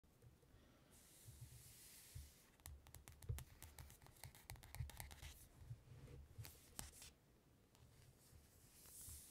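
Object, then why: Glossy paper magazine cover. Long-nailed fingertips tap and scratch the glossy paper cover of a closed ELLE magazine lying on red fabric. Soft, bright scratching hiss opens the clip, then a quick run of crisp clicking taps, and the scratching returns at the end. It is quiet overall, with a low rumble underneath.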